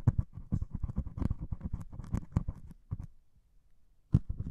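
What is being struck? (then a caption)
Melamine foam sponge with scouring pad. A white melamine foam sponge with a grey scouring pad top, held in one hand, is poked and scratched with a metal needle. Quick, soft, dry taps and scratchy rustles are heard, mostly low and muffled. They go quiet for about a second before resuming.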